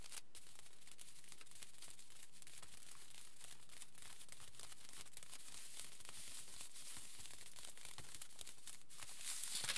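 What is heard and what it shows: A crinkled aluminium foil sheet lies flat while the fingertips of both hands scratch and rub across it. A steady, quiet stream of bright, dense crinkling and crackling runs throughout, swelling slightly louder at the very end.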